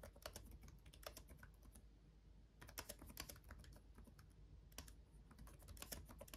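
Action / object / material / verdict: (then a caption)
tap / plastic laptop keyboard keys / plastic / none. Both hands type fast with their fingertips on a black laptop keyboard with RGB-backlit plastic keys. The result is rapid bursts of short, bright, dry clicks that die away almost instantly, coming in quick runs with brief pauses. A steady low hum sits underneath throughout.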